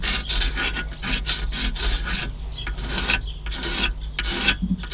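Fingernails scratch and pick at an old, crumbling white foam or rubber seal strip along the top edge of a car radiator. The result is a series of dry, raspy rubbing bursts with a bright hiss over a steady low rumble, as the strip rubs and crumbles apart.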